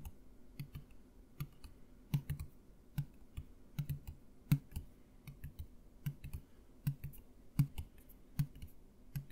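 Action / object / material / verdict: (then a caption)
tap / partly filled plastic mouthwash bottle / plastic / none. A clear plastic mouthwash bottle about two-thirds full of green liquid is held upright in both hands and tapped with the fingernails. Many quick, irregular taps make soft, hollow low thuds with a faint bright click on top. Each tap dies away almost at once.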